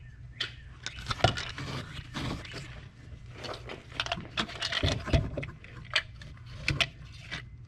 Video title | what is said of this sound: "The Boss Lady's Mechanic" 2014 Jeep Grand Cherokee Limited "ESIM" replacement | as you shake it, you can hear a component on the inside moving